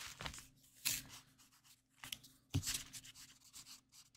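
A green plastic highlighter's felt tip is rubbed and scribbled quickly across a printed paper mandala coloring page lying flat on a table. Bright, scratchy rubbing strokes come in uneven bursts, and a few land with a soft low thump against the table.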